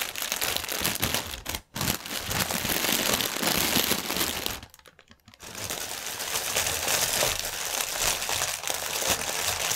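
Fingernails scratch and press a strip of inflated, clear polyethylene air-pillow packaging resting on a table, the hollow air-filled cushions giving off dense, bright crinkling and crackling. The crinkling runs almost continuously, with a brief dip near 1.7 seconds and a longer quiet pause around 5 seconds before it resumes just as intensely.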